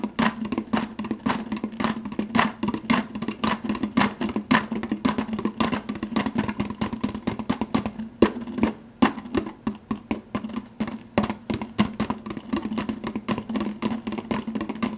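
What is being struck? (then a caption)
Plastic soda cup with plastic lid. Fingertips rapidly tap the clear plastic lid of an empty, hollow 52 oz translucent blue plastic soda cup. A steady stream of short, dry, hollow clicks follows, each with a faint resonant tone and almost no ring.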